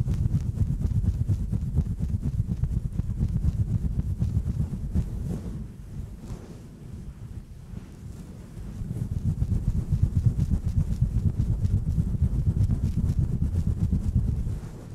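Long press-on nails scratch a fluffy, hand-sized grey synthetic-fur windscreen over a microphone with both hands, slowly and then aggressively. The fur rubbing directly on the mic makes a deep, rumbling, wind-like scratching that dips quieter for a few seconds mid-clip before building back up.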